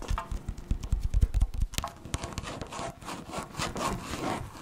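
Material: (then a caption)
Plastic. A tall, hand-sized blue-and-white plastic yogurt cup with a printed label and a sealed lid, possibly full, is held in one hand while long manicured nails tap and scratch its side. Quick dull taps with a low thump come first, then softer, brighter scratching and rubbing along the cup's surface.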